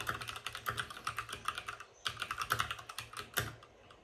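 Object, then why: Mechanical keyboard with plastic keycaps and case. Fingertips of both hands type fast on a white RGB-backlit mechanical keyboard with plastic keycaps and a hollow plastic case. About two dozen quick, bright clacks ring around 1.3 kHz with little low end, each dying away almost at once. A brief pause comes near the two-second mark before the typing resumes.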